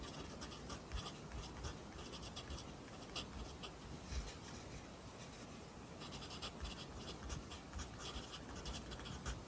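A wooden pencil held in the fingers writes continuously on an open lined paper notebook resting on a desk, its graphite tip scratching across the page. The soft, steady scratching carries bright, high stroke textures over a faint low rumble, with a slightly quieter stretch midway before the strokes pick up again.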